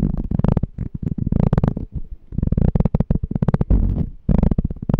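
Short fingernails and fingertips tap and scratch the body of a small, clear, empty glass jar with a pink label, held sideways. Quick bursts of dense, dull tapping and scraping come in three stretches separated by brief pauses. The sound is mostly low and thumpy, with each tap dying away almost at once.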